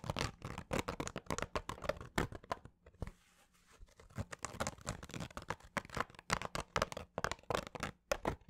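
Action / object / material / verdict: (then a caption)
scrape / fabric cap with stiff brim / fabric / none. A green fabric snapback baseball cap is held in both hands with the underside of the brim facing out, as fingernails scratch across the fabric and brim. Dense, rapid, dry scratching and crinkling bursts fill the clip with a brief quieter pause around the three-second mark.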